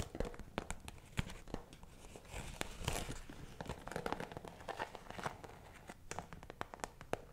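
A round, iridescent holographic PVC zip pouch, hollow and seemingly empty, is held close to the mic and scratched and tapped with fingertips and nails. Quick, crisp clicks and sharp taps fall over a steady crinkly, rustling scratch. Each tap dies away almost at once, with a soft low body under the brighter crackle.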